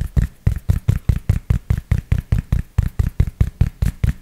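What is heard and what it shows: Fingertips tap and scratch the crown fabric of a grey cloth baseball cap held beside a microphone. Nineteen dull, low, padded thuds come in a quick, loosely even rhythm, each dying away almost at once, with a faint scratchy rustle between them.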